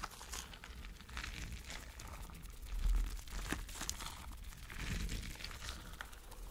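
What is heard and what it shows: A spiky rubber mesh stress ball filled with gel water beads is squeezed in the hand and rubbed with the fingers. It gives a continuous soft crinkling, squishy crunch over a low rumble, with bright crackles throughout and a louder swell around the third second.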